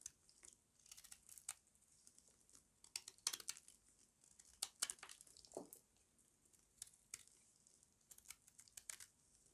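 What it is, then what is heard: Dry soap bar, crunchy when carved. A small metal blade scrapes and carves curls off the corner of a solid square bar of dry white soap held in the palm. Quiet, bright, crisp crunching and crackling scrapes come in irregular short bursts, with a faint hiss between cuts.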